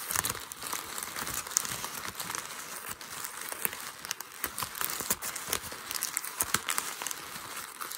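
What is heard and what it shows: A light grey ball of crumpled packing paper on a white desk is crumpled and scrunched by one hand using fingertips and short nails. The result is a steady, dense crinkling with bright, sharp crackles and no low rumble.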